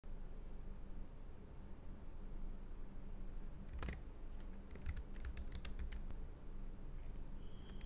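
A Logitech MX Keys Mini, a compact black plastic wireless low-profile keyboard with scissor-switch keys, rests on a desk mat while the fingertips of both hands type on it. After a stretch of steady low hum, a rapid series of short, bright key taps comes in from about the four-second mark, clustering densely in the middle and trailing off with a few scattered clicks near the end.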